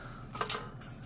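Two short, bright metallic taps ring briefly as a new metal temperature probe, pushed into position while being refitted in a Vizu clam grill, touches the grill's metal bottom plate. The taps show the probe has reached the bottom plate and is seated correctly, ready for its lock nut to be tightened.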